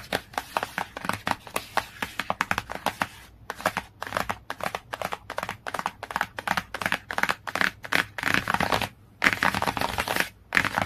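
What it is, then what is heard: Glossy hardcover book tapped with nails. Long nails rapidly tap and scratch the laminated cover of a glossy cardboard hardcover book. Quick, dry, bright clicks with almost no ring come in steady runs, then turn into denser, rasping scratchy bursts with brief pauses.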